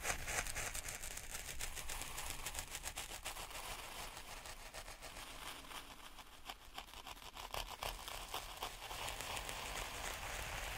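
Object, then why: Fine grit sand in a plastic tray. Wooden stick tips are poked repeatedly into fine, speckled black sand or grit in a white plastic tray. Each poke gives a light, dry crackle, and the pokes run together into a quiet, steady patter of bright ticks and soft grainy rustling.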